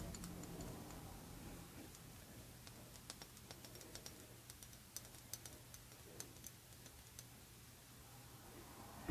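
A partly filled Prada rectangular clear glass perfume bottle with a metal label plate is held in the hand and tapped with long red nails. The result is soft, sharp, brief clicks and ticks with a bright edge, scattered irregularly over a quiet, steady low hum.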